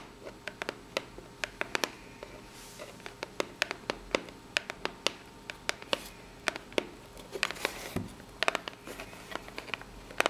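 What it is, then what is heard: Corrugated cardboard box. Long pink natural nails tap and scratch the ribbed surface of a small, hollow brown corrugated cardboard box. Dozens of sharp, bright clicks sound with almost no ring, mixed with brief, papery scratching swipes over a quiet, hissy background with little low end.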